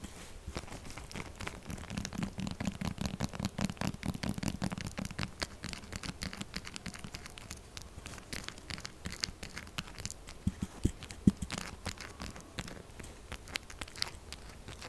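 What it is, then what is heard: Textured soap bar being scratched. Long nails scratch and tap the surface of a solid pink textured soap bar in fast, aggressive strokes. It makes a dense run of dry, bright scraping and crackling with quick ticks over a low rumble, and a sharper tap stands out near the end.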